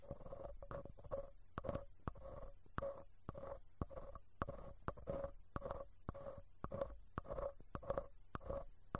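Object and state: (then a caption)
Metal mesh microphone grille scraped. A thin bamboo ear pick repeatedly scratches and scrapes the perforated metal mesh grille of the right capsule in a handheld recorder's stereo mic pair, a small, hollow, cylindrical metal housing. Close, dry scraping bursts come in quick strokes, each carrying a hollow, resonant mid-range ring over a low rumble.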